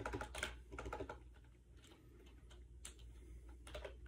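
Fingertips type fast on a compact gray plastic AJAZZ 308i wireless Bluetooth keyboard with round white keycaps, resting on a bed. The hollow plastic keys give quick, bright clicking taps in irregular bursts, loudest at the start and softer through the middle, over a steady low hum.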